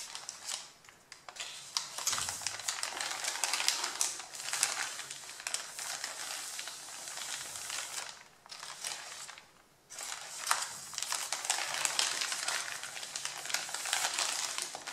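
Fingertips with long nails and rings rub, pat and scratch the top sheets of a thick stack of thin white printer paper printed with porcelain-painting line drawings on a wooden table, moving pages to a second pile. The result is dense, bright, crisp rustling and scratchy crinkling with quick taps. Brief lulls come around 1 and 8.5 seconds, and a near-silent pause falls just before 10 seconds.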